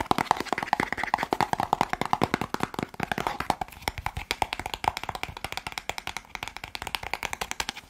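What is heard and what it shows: A small, hollow white and teal cardboard medicine box is held up and rapidly tapped with fingertips and nails on its face and edges. The result is a fast, steady stream of dry, hollow clicks and taps with a mid-pitched knock around 850 Hz and almost no ring.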